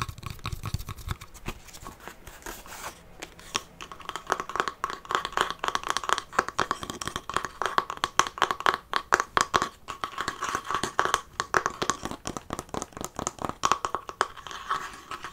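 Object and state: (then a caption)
Faux-leather covered wooden chest. A larger hollow treasure-chest box of faux-leather-covered wood with metal studs is held in the hands and scratched and tapped with fingernails. Dense, rapid, dry scratching and tapping with a crinkly, papery texture centers around a mid-range band near 1 kHz, with little low end and no ringing. It starts softer and grows busier and louder after about four seconds.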